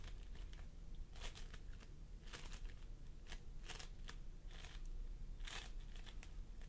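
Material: Polystyrene beads.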